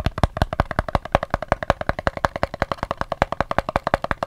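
Fingers tap quickly and unevenly on a soap's cardboard box, about 41 short, dry taps in just over four seconds. Each tap is a soft, hollow knock with a faint boxy tone near 580 Hz and almost no ring.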